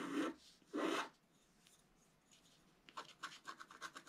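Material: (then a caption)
Coated paper. The pointed tip of a wooden stylus, held in the fingers, scratches a flat black-coated scratch-art card lying on a table while the other hand holds the sheet flat. Two long, loud rasping scrapes are followed by a quiet pause, then a run of short, quick, bright scratches.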